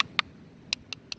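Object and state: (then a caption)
Solid river bedrock. Short, sharp taps on a spot of river bedrock on the Nanaimo River bank, showing it to be solid rock in contrast to a nearby hollow-sounding spot. Four dry, bright clicks are heard with almost no ring or low-end resonance.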